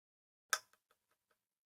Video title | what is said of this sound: The JFK Files just DROPPED - Nine Degrees Podcast - Ep. 24 | Sounds like plastic to me.